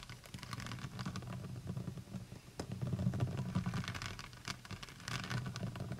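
Long nails tap quickly and irregularly on the brown cap and sides of a large, full plastic honey bottle held in both hands. The clicks are short and dull, with little ring, over a steady low hum that swells and fades throughout.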